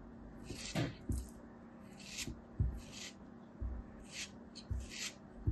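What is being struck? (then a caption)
Molded kinetic sand tower cut with a thin metal knife. A thin metal knife scrapes and slices through a small, solid molded kinetic sand tower held between fingers. Bright, grainy scraping hisses are broken up by several soft, low, dull thuds as the blade cuts through the packed sand.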